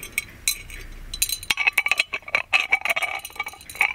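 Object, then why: Gold-plated metal lamp. Fingernails tap and scratch the lid knob and body of a gold-plated metal magic lamp with a chained lid. Many quick, bright metallic clicks and ticks with short rings are heard, mixed with light scraping, mostly in the upper range.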